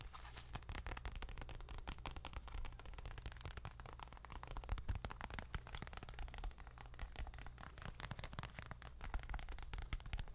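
A small dark leather bifold wallet held in both hands is tapped and scratched with long nails. Quiet, rapid taps and crackly scratching run continuously, with a low, dull thump underneath and brief bright ticks on top.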